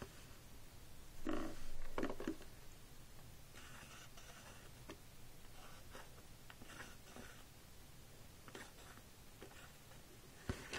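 A white plastic stylus draws across the screen of a pink plastic magnetic drawing board resting on a table, with fingers steadying the frame. Soft, scratchy strokes are heard, with a louder, brighter burst of scribbling early on. This is followed by quieter, intermittent strokes and a sharp tap near the end.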